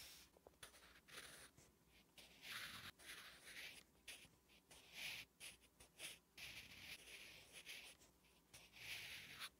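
A wooden graphite pencil writes Korean letters on a flat, solid lined paper notebook page, making bright, dry scratching strokes. The strokes come in uneven bursts of short rasps with brief pauses between them, quiet and close.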